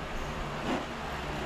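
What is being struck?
Nothing is struck.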